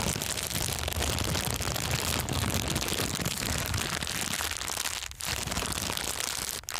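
An empty, thin, clear transparent plastic bag is crumpled and squeezed between both hands with the fingertips. It makes a dense, continuous crackling and crinkling that is bright and hissy, with a low rumbling undertone, and it briefly eases near the five-second mark and again just before the end.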